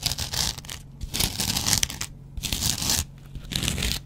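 A double-edge razor blade held in the fingers is scratched across a yellow foam kitchen sponge. It makes four bright, raspy, tearing scrapes, each separated by a short quieter gap, over a faint low hum.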